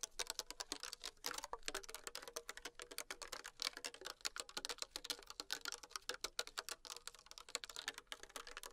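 Long acrylic nails tap fast on the body of a small, thin PET plastic water bottle with a blue cap, held in hand and containing liquid. The result is a dense, rapid run of crisp, bright clicky taps with almost no low end, each one dying out instantly.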